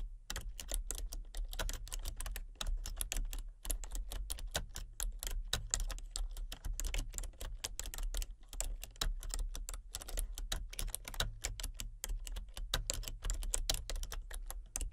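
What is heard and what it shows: Fingertips type rapidly on a full-size plastic computer keyboard with a colour-changing backlight. A steady stream of short, bright clicks runs over a constant low hum, and each click dies away almost instantly.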